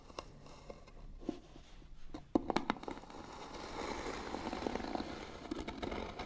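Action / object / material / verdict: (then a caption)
scrape / small painted wooden box / wood / none. Fingernails scratch the lid of a small, hollow, white-painted wooden box, making dry, crackly scraping strokes. Sharp clicks and taps are scattered through the scratching, and the sound thickens into denser, steadier rasping in the second half.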